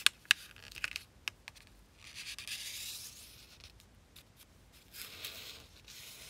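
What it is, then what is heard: Thin origami paper being creased. A single thin square of zebra-print origami paper, folded into a triangle on a black surface, is creased and rubbed flat with fingertips and long painted nails, while two finished paper zebras lie untouched to the side. Sharp, crisp paper ticks and crackles open the clip, followed by soft, bright sliding rubs and scrapes that swell and fade as the nails press along the fold.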